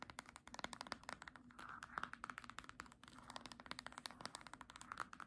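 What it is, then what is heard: Hardcover book spine. Long nails rapidly tap the spine of a small green hardcover book held sideways. The result is a quick, quiet stream of dry, clicky taps with very short decay and a faint tonal ring around 1.3 kHz.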